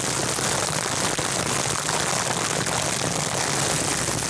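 Crinkly silver mylar, a metallized plastic film wrapped around a microphone, is squeezed and crinkled with the fingertips of both hands. The result is a dense, continuous crackling rustle, bright and hiss-like, with a faint low hum underneath, holding at a steady loudness throughout.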